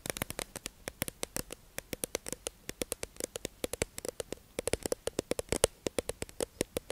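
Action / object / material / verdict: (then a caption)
tap / clear plastic tube package holding sponges / plastic / none. A hollow, clear plastic tube-shaped package holding makeup sponges is held in the hands and tapped and scratched with long acrylic nails. Dozens of quick, sharp clicks ring out in an uneven rhythm, each with a bright snap and a short hollow resonance around 480 Hz, over faint scratching between taps.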